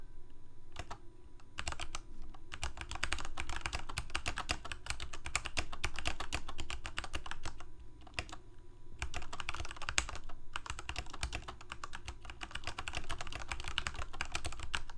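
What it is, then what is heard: Plastic mechanical keyboard being typed on. Fingertips of both hands type continuously on a full-size black plastic Corsair K68 gaming keyboard with backlit keycaps, Cherry MX Red switches and a hollow plastic case. Rapid, short clacking keystrokes run in dense bursts, with brief pauses near one, eight and nine seconds, over a steady low hum.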